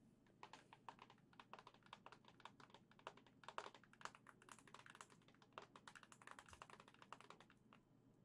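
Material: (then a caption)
Plastic. A hollow white and gold printed plastic Switch dock, held in both hands, is tapped rapidly with long nails. The result is a fast, irregular run of short, dry, bright clicks that sound like typing, over a faint steady low hum.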